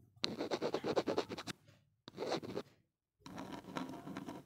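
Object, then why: Small plastic earphone inline mic housing. A gloved hand scratches along the edge and end of a small, hollow black plastic inline mic on a Nokia earphone cable, taped to a wooden table, using a blue-tipped tool. Three bursts of quick, dry scratching strokes come with short silences between them, the first long and rhythmic, the second brief, and the last a softer, steadier rasp.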